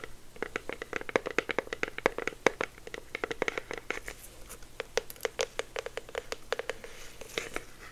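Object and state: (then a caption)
Cardboard product box. A small, hollow, orange printed cardboard box with a clear plastic window is held in the hands and tapped and scratched with the fingertips. Dozens of quick, dry taps come in an irregular stream, each a hollow knock centred near 480 Hz with a bright crackling edge. Soft scratching fills the gaps, and the taps end instantly with no ring.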